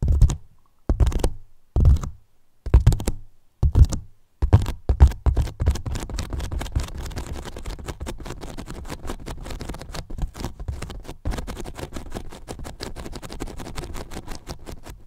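Fingertips tap and scratch the top of a large, hollow white polyethylene foam box. Five separate dull, low thumping bursts open the clip, then give way to continuous rapid tapping and scratching with a deep, hollow, muffled tone.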